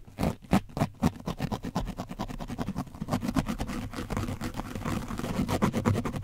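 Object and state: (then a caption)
Painted foam microphone windscreen being scratched. A foam brush is scratched across the top of an orange foam microphone windscreen coated with dried paint. Heavy, low, muffled scraping strokes start as separate swipes, then speed up into a dense, continuous run of rapid scratching.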